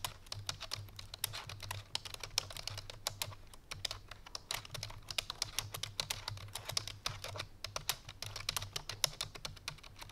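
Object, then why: Plastic computer keyboard. Fingertips and painted nails of both hands type quickly on a full-size black plastic computer keyboard resting on a white fur rug. The keys give a dense, uneven stream of short, bright clicks that stop dead, over a faint, steady low hum.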